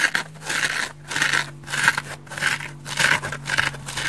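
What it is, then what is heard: Dry foam bath sponge. A large, dry, orange curved open-cell polyurethane foam bath sponge is held in one hand while fingernails repeatedly scratch its porous face. The result is a series of dry, rasping scratch bursts with bright, hissy texture, rising and falling in uneven strokes over a faint steady low hum.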